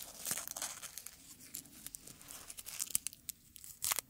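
Small, thin, dark red dried rose petals are rubbed, crumpled and torn between the fingertips of both hands, giving a quiet, bright, crisp rustle. Dense crackling is broken by sharp little snaps and a louder crunch near the end. The petals are dry and brittle.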